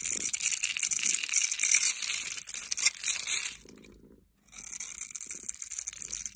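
A metal blade scrapes and cuts the scored surface of a solid oval bar of teal soap held in the hand, dropping small cubes. It makes a dense, bright, crackling scrape that briefly fades to near silence, then resumes.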